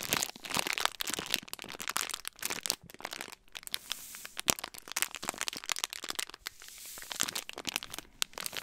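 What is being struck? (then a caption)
Thin plastic snack wrapper. A small clear-plastic snack wrapper with a printed image is held close to the microphone and crinkled and crumpled between the fingers. It gives dense, sharp, bright crackles and crunches in quick irregular bursts, with a few brief quieter gaps.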